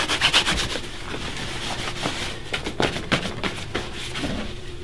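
Hands buff the toe of a polished black leather dress shoe, worn on a foot resting on a wooden stand, with a bunched white cloth. Brisk, bright rubbing swishes repeat in quick strokes, some louder than others, over a soft steady hiss of cloth on leather.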